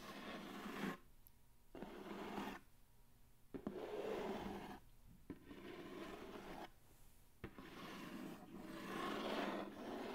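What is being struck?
Cardboard mailer box.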